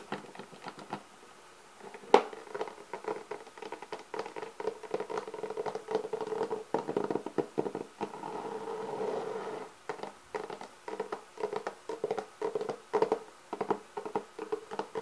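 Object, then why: Hard-shell clarinet case with textured covering and metal latches. Fingers and nails scratch and tap on the lid and near the metal latches of a black, leather-textured hard-shell clarinet case that is hollow inside. The result is quick, dry, hollow taps with a midrange tone and almost no ring, plus one sharper, louder tap near the two-second mark. A steadier, continuous scratching stretch follows around eight to ten seconds, and the taps then resume.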